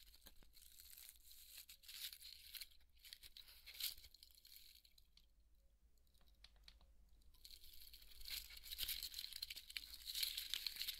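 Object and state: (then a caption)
Polystyrene foam ball being scratched. Fingernails scratch and crumble the foam along the cut seam of a large white polystyrene foam ball held in both hands. The result is a dense, bright crackling and crunching with a faint steady low hum beneath it. The scratching eases off in the middle and then returns louder and crisper toward the end.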